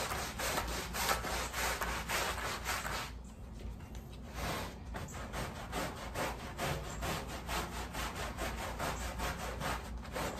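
A wet, foamy, patterned woven pile area rug lying on a plastic sheet is scrubbed with a wooden-handled black bristle push brush. Quick back-and-forth strokes, roughly two per second, make a steady, bright, rasping swish with a wet undertone, easing briefly near the middle before picking up again.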